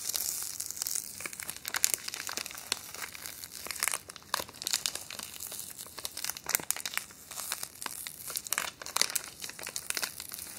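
A small, thin, empty clear plastic wrapper or bag is held up in both hands and crinkled and scrunched with the fingertips and long painted nails. The result is a dense, bright crinkling with sharp crackling bursts, briefly thinning out around the four- and seven-second marks before picking up again, with almost no low end.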